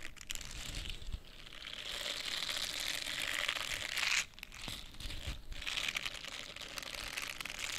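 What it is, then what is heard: Silicone face cleansing brush. A small pink silicone facial cleansing brush has its bristled surface scratched with long painted nails and the pad squeezed. The result is a dense, continuous bright crinkling and scratching with many quick strokes, broken by a brief pause around the middle.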